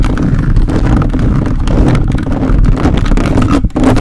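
A plastic toy robot grabber hand claws and scratches across a hollow metal mesh microphone grille, staying on the grille the whole time. The result is a loud, continuous low rumbling scrape with dense crackling texture and a brief dip near the end.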